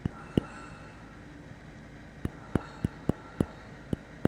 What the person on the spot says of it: very nice vintage spring-loaded old-time filament sound effect